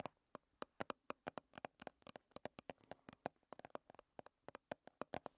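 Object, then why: Small plastic squeeze tube with plastic cap. Long red nails tap and scratch a small plastic BB cream squeeze tube with a white plastic cap as it is held. Around 31 quick, dry, hollow clicks come in an uneven, rapid rhythm, each dying away almost instantly. The taps carry a light plastic tone near 720 Hz with some brighter edges, all at a soft, close level.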